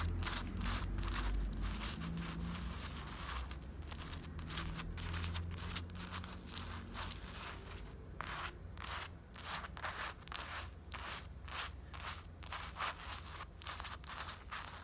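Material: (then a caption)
Cotton fabric. Long black acrylic nails scratch across the chest print of a grey printed cotton-blend fleece sweatshirt worn on the body. The result is a quick, uneven run of dry, crunchy scratching strokes over a steady low rumble.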